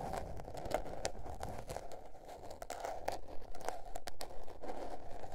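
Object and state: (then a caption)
Spiral paper notebook. Long nails scratch and tap the cover and page edges of a small spiral-bound paper notebook with a blue patterned cover lying on fur. The result is quiet, dry, papery scratching broken by irregular light taps and brief crinkly bursts over a soft low rumble.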